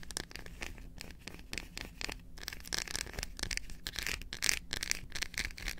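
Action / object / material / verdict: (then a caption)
scrape / dark chocolate bar / chocolate / none. Long acrylic nails rapidly tap and scratch the back of a solid dark chocolate bar held in both hands. The result is a quick, uneven stream of dry, bright scratching bursts and short ticking taps, with a faint low hum underneath.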